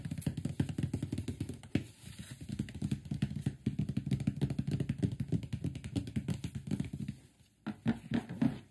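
Fingertips tap and scratch the top and front edge of a large, closed, printed cardboard microphone box. Rapid, irregular dull taps with a hollow, low, boxy thump and very little ring are mixed with soft scratching. There is a brief pause near the end before a few louder taps.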